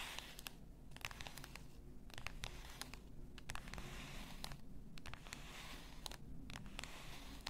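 Long nails tap the shoulders of a clear bottle, likely glass, full of pink salt, then scratch along them. Quick, bright clicks with almost no ring sit over a steady low rumble, alternating with dry, crinkly scraping.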